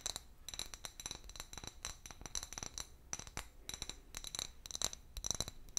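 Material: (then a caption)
Glass. A medium, hollow, empty clear glass bottle with a paper label, held in one hand, is tapped with long fingernails. Rapid, bright clinks and light scratchy scrapes ring high with very short decay, in quick uneven bursts throughout.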